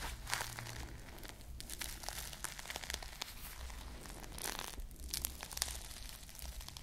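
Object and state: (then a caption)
Foam squishy toy with plastic bead sprinkles. A small foam squishy ice cream bar covered in plastic bead sprinkles is held close to the mic and scratched and squeezed with long nails. Continuous bright crinkling and crunchy scratching is heard, with many sharp clicky ticks over a steady low hum.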